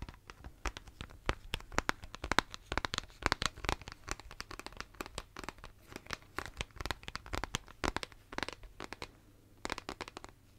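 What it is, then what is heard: Plastic shaker bottle tapped with fingernails. Fingernails tap and scratch the lid and body of a pink plastic shaker bottle held close to a microphone. The result is a steady stream of quick, dry, crisp clicks and scratchy crackles with bright edges, each stopping at once, over a faint low hum.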